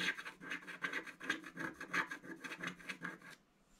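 A wooden stylus scratches the centre of a black coated scratch-art card in a book, making a quick series of dry, rasping strokes. The strokes are bright and papery, centred around 1.6 kHz, with almost no low end. They continue steadily for about three and a half seconds, then stop, leaving near silence.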